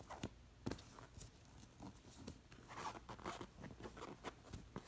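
Long nails scratch across a stuffed pillow covered in short-haired cowhide and crossed with black leather lacing, while fingers pull and trace along the straps. The result is a quiet series of dry, crunchy scratches and short, soft snaps that die out almost instantly.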